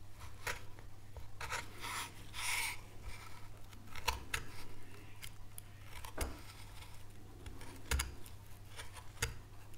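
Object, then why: Small wooden board cut with a carving knife. A fine carving knife cuts and scrapes a small, solid, light wooden board carved with a relief oak leaf, held in gloved hands. Short, sharp clicks and dry scraping strokes sound over a steady low hum, with a longer bright rasping scrape near the start.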